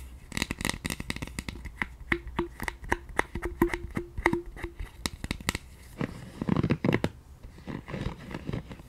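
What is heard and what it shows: Long nails rapidly tap the hollow handle side of a pink silicone scalp massager brush, giving sharp, dry clicks with a short hollow ring near 344 Hz. Toward the end, the nails scratch across the silicone and the brush is turned in the hands, producing softer rubbing and shuffling sounds.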